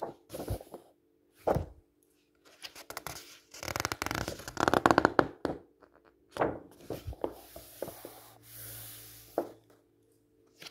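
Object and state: Glossy magazine pages being rubbed and turned.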